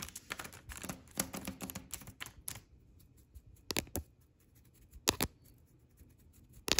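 Long red nails tap and scratch a flat white paper shopping bag with a red ampersand print lying on a table. A dense, crinkly burst of bright scratching and tapping fills the first couple of seconds. It then thins to a faint papery rustle, broken by a few sharp, dry taps that stop almost instantly.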